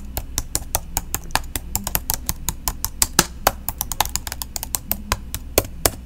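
Long pink nails type and tap with one hand on the plastic keys of a silver laptop held flat beside the microphone. About 34 short, crisp clicks follow in an uneven rhythm, each dying away almost instantly, over a steady low hum.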